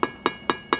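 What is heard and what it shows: A tool with a metal button on its end taps a stucco wall four times, each tap a short, hollow knock centered around 350 Hz and 1 kHz that dies away almost at once. The hollow sound marks stucco that is not anchored properly to the wall, so this section will be demolished.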